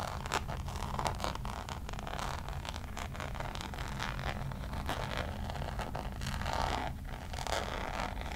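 Long nails scratch the Damier checkered coated canvas of a Louis Vuitton zip pouch, making a steady, dense rasping and scraping with quick bright flicks over a constant low hum. The scratching runs unbroken through the clip, swelling slightly near the end.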